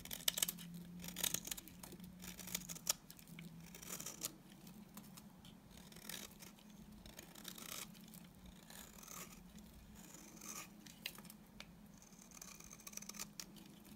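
A utility knife blade scrapes the surface of a solid, dry beige bar of soap, and shavings fall away. The result is a quiet, bright series of crisp scratching and rasping strokes over a faint low hum, with sharper clicks near the start.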